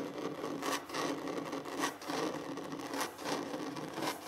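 Short fingernails and fingertips scratch and rub across a large solid wooden tabletop. The sound is a steady, dry, brushy scratching with little low end, rising into brief bright swells roughly once a second as strokes repeat unevenly.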